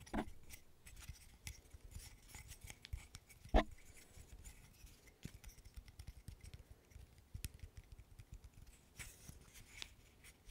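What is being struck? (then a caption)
Small wooden interlocking stick puzzle. Fingernails scratch and rub along the pieces of a small, solid, handheld wooden burr puzzle made of light-wood interlocking sticks. The result is a quiet, steady stream of dry, crisp scratches and tiny clicks, with one louder, sharp tick standing out near the middle.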